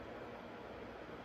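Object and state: Nothing is struck.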